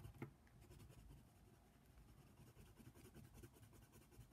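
A hand colors the ear outline of a giraffe on a paper coloring book page lying flat, using a brown colored pencil. The pencil lead scratches the paper in quiet, continuous strokes with a soft low rumble, and a slightly sharper scrape comes near the start.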